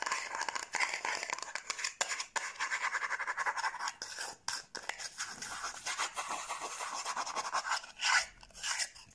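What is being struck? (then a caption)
Small cardboard box. Long nails rapidly scratch and tap the surface and edges of a small, hollow yellow cardboard gift box held up close. The result is a dense, continuous stream of dry, bright scraping with quick, crisp taps scattered through it and almost no low end.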